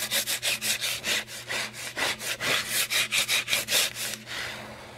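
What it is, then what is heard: Cardboard chip canister scratched. A tall green Pringles tube, a hollow cardboard cylinder with a plastic lid, is held in one hand and rubbed and scratched along its side with long nails. Quick, steady back-and-forth strokes make a bright, dry, raspy scratching with a soft hollow tone. The strokes stop near the end, leaving a faint hiss.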